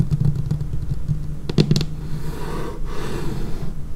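Long painted nail tips tap across a large, solid, dark laminated tabletop, making quick, dry, low-pitched clicks with almost no ring. A brighter cluster of sharper taps lands around the middle, then the tapping fades into a soft, steady low rumble.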